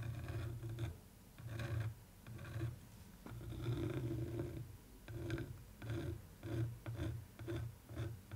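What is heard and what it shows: A thin wooden stick, held in fingers with long nails, traces and scratches over the textured surface of a printed canvas art print. It makes a series of low, rough, rumbling scraping strokes that rise and fade with short pauses between them.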